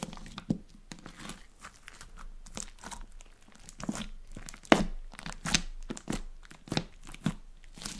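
A flat sheet of clear blue glitter slime is pressed and poked with long orange nails on a table, then folded and squeezed in the hands. It gives irregular wet, sticky crackles and crinkly pops with bright, short snaps, some louder than others, over a quiet background.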